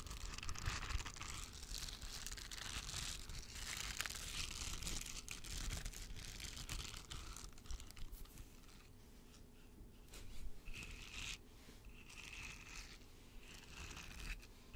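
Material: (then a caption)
Silicone. A pink, flexible silicone sensory toy covered in long soft spikes is bent and rolled in both hands while its spikes are scratched and rubbed with fingernails. The result is a dense, irregular stream of crackling, crinkly scratches with bright hissy bursts over a steady low rumble, growing quieter and more sparse toward the end.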